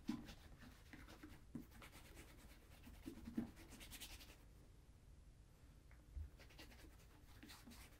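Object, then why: Leather ankle boot. Bare fingertips and a palm rub conditioner into a hollow brown leather Crockett and Jones Coniston ankle boot, which is held with a shoe tree inside. Soft, quiet scratchy rubbing continues throughout, with a low, muffled body and a few brief, louder thumps.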